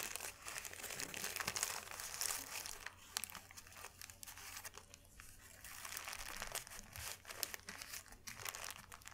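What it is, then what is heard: Thin paper sheet being crumpled. A thin white paper sheet is folded and crumpled between fingers, giving a dense, bright crinkling of quick crackles that swell and ease over the clip. The crackles stay quiet and high, with a faint steady low hum underneath.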